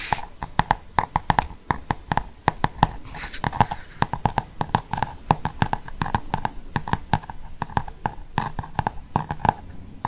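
Fingernails tap and scratch the glossy cardboard cover of a large, solid Cath Kidston hardcover book. A rapid, steady stream of short, dry clicking taps with a midrange knock around 850 Hz is heard, with soft scratching between taps and no ringing after each hit.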